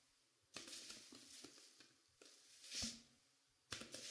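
Long painted pink nails and fingertips scratch and rub the velvet-like flocked fabric on both sides of a life-size dark navy mannequin head. Quiet, bright, scratchy rustling comes in a few separate bursts, with short pauses of near silence between them.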